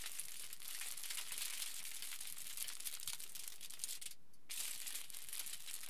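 A pleated aluminium foil sheet lies flat while fingers pinch and crumple a section in the middle. The result is a steady, dense, bright crinkling and crackling, broken by a brief near-silent pause about two-thirds of the way through before the crinkling resumes.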